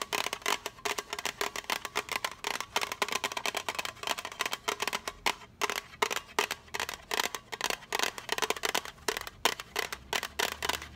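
Long acrylic nails rapidly tap on a small, hollow, rectangular blue printed metal tea tin. Quick, bright, clicky taps die away almost instantly, carrying a faint tinny ring with almost no low end.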